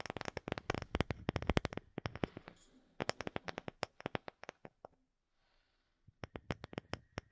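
A round, light-colored, palm-sized wooden disc that looks solid is held behind the microphone and tapped with long fingernails. Quick, crisp, dry clicks come in fast bursts with no ring. A brief near-silent pause falls just past the middle before the tapping resumes.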